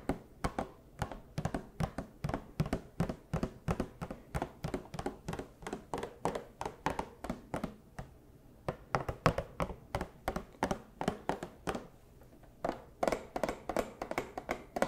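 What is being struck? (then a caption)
Cardboard box with a plastic window. A small, hollow cardboard Funko Pop box with a clear plastic window and a figure inside is tapped and scratched with the long plastic claws of costume paws. About 63 quick, dull, hollow taps land in steady runs, each dying away almost at once, with brief pauses near 8 and 12 seconds. The tone is mostly low and mid, with sharp clicky edges from the claws.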